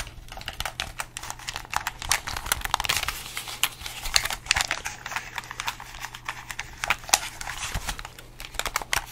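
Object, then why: Plastic game controller. A hollow red plastic gamepad, held in both hands close to the mic, has its buttons and triggers pressed and clicked with fingertips and thumbs. The result is a rapid, irregular stream of short, dry, bright plastic clicks and taps that stop almost instantly, over a faint steady low hum.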